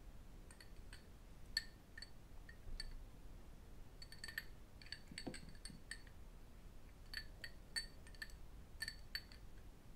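An empty, small, hollow cut-crystal glass tumbler is held in both hands and tapped with fingertips and metal rings. Quick, bright clinks come in loose clusters, each ringing with high glassy tones near 2 kHz that fade almost at once. A faint low rumble sits underneath.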